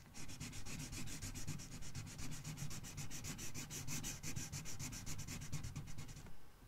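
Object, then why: Marker tip on a paper coloring book page. A red marker tip rubs across an open paper coloring book page in fast coloring strokes, making a rapid, steady back-and-forth scratchy hiss with bright pulses on each stroke over a soft low rumble. The strokes continue evenly for about six seconds and then stop abruptly, leaving faint quiet.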